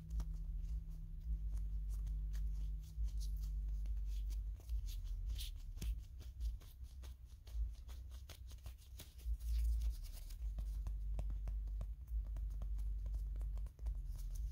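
A small, hand-sized hard plastic or vinyl Kirby figure with a purple mushroom hat, likely hollow, is held in the hand while fingertips and nails tap and scratch it. Quick, irregular clicks and scratchy ticks sound over a steady low hum.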